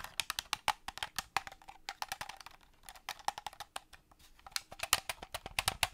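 Painted fingernails tap rapidly on the shell and buttons of a hollow black plastic Xbox-style game controller as it is held and turned in the hands. Some thirty sharp, bright, wood-block-like clicks come in quick bursts, with a softer, sparser stretch in the middle. The clicks stop almost at once, with little low end.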